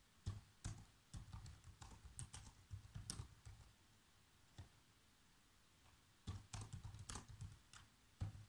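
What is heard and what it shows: Bare fingertips type on a black plastic laptop keyboard, with a hand sweeping over the keys. Quiet, soft, low-pitched key taps come in quick bursts, each with a short bright click. A run of typing is followed by a near-silent pause with a single tap, then another burst.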